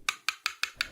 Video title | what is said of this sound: 🎼L'étrange bruit du café ☕ 🎼 | une note qui augmente au fil du temps jusqu'à arriver à un plateau où elle n'augmente plus